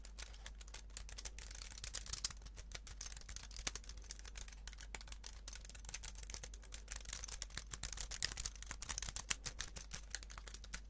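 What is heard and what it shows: A slim white plastic computer keyboard is held in both hands while its keys are typed and tapped with fingertips. The result is a steady stream of quick, bright plastic clicks over a constant low hum.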